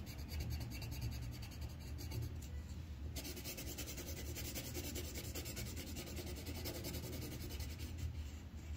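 The tip of a green wooden colored pencil, held in the fingers, rubs and scratches across a thin white paper coloring sheet clipped flat to a solid-backed board while coloring in a leaf. The sound is a steady, low, papery rubbing with rapid back-and-forth strokes, and the scratch turns brighter and hissier about a third of the way through as the shading continues.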